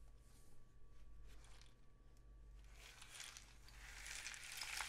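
A long, hollow cardboard rain stick painted with suns and dots is held diagonally and tilted, sending its loose filling trickling down inside. A soft, crackly patter rustles over a steady low hum, then swells into a brighter, denser hiss of falling grains that grows louder toward the end.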